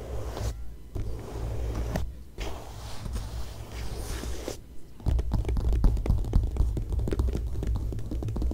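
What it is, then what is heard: Glossy magazine paper scratched. Long nails scratch the glossy coated paper pages of an open glossy magazine, staying on the same photo spread. Soft, low-heavy scraping strokes are broken by brief pauses. After about five seconds they turn into a denser run of quick, crisp scratches.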